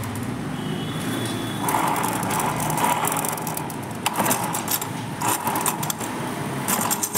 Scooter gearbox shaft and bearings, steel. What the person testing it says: డబ్బాల్లో రాళ్ళు వేసి మన ఊపితే ఎలా గలగలగల సౌండ్ వస్తుందో అలా వస్తుంది